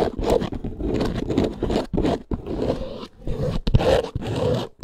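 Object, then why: Faux leather handbag, snake-textured surface. Long acrylic nails scratch fast across the textured top panel of a small snake-print faux leather handbag. The result is a dense run of rough, dry scraping bursts, mostly low and mid in tone with little brightness, broken by brief pauses between strokes.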